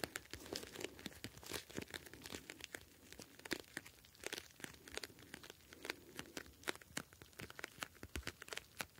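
A square, clear plastic gel bead ice pack filled with blue gel beads is held in both hands and squeezed and crinkled with the fingertips. It gives a quiet, dense stream of sharp, bright plastic crackles and crinkles, with soft squishing underneath between the louder snaps.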